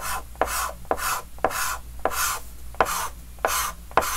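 A white chalk stick held in the fingers scratches quick, short strokes across a large, flat, dark green wooden-framed chalkboard. Each stroke starts with a sharp tap and turns into a bright, raspy scrape. Seven strokes come at an uneven pace over a faint low hum.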